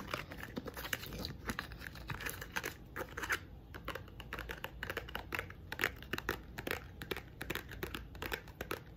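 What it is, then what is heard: Painted wooden block tapped and scratched with nails. Long nails scratch and tap across the face and thick edges of a small pink painted wooden block box. The result is a quiet, steady stream of dry, rapid clicks and scratchy rustling, with brief bright ticks and no ring.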